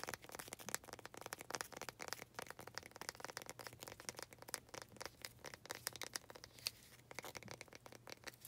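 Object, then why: Small faceted wooden planter. Long nails tap and scratch the faces of a small faceted wooden pot holding an artificial cactus. The result is a dense run of quick, dry clicks and crinkly scrapes with no ring, bright in tone, over a faint steady low hum.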